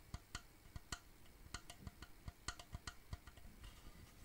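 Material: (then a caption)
Wood. A wooden shadow box frame, held edge-on, is tapped on its narrow wooden side with fingertips and nails. Fourteen short, dry knocks fall in an uneven rhythm, each a low hollow thump with a bright clicking edge that dies away almost at once.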